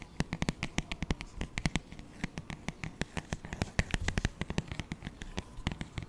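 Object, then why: Paperback songbook with glossy paper cover. Fingertips and short nails tap and scratch the thin, glossy paper cover of a flat, solid paperback children's songbook, Doc McStuffins "Happy, Healthy Songs," held up in front of the mic. A fast, uneven run of crisp, dry taps sounds, each with a soft low thump that dies away almost instantly, with faint scratchy rustling between them.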